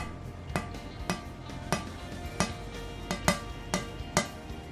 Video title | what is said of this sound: Building The 5-Axis CNC Machine in a Small Room: A DIY Journey. (part5) | The sound will give you an idea of the hardness of the material. It has a high pitched sound like a metal plate.